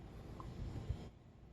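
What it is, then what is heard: Smartphone that does not rattle when shaken. An iPhone, taken out of its case, is shaken by hand as a reference. Only a faint, low handling rumble is heard for about a second before it goes quieter, and no rattling comes from the phone.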